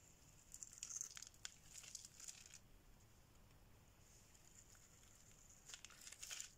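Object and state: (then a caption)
Dry bar soap being shaved. A solid pink bar of dry soap, held in the hand, is shaved with a metal blade, sending curls and flakes falling. Quiet, bright, crisp scraping and crinkling comes in bursts through the first two and a half seconds, eases to a faint hiss, then returns in a final burst near the end.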